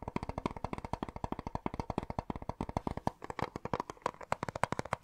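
A small, hollow, clear plastic cassette tape case with a colourful printed insert and a tape inside is held in both hands and tapped and scratched with fingertips and short nails close to the microphone. About 43 quick, dry clicks follow one another over five seconds, each dying away almost instantly, with a hollow plastic tone near 970 Hz and soft scratchy texture between the taps.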